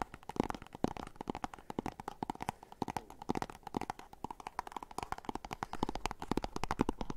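Fingernails scratch and tap on a small, hollow, white and orange printed cardboard box, making a rapid stream of short, dry clicks. The sound is a hollow, papery knocking centered around the low-mids, with a faint scratchy rustle between the taps.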